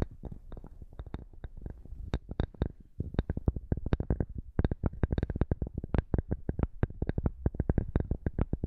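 Fingernails of both hands scratch a flat square cork board held upright in front of the microphone. The result is a rapid, uneven run of short, dry scrapes that is dull, low, and thumpy, with a little brighter edge on the sharper strokes.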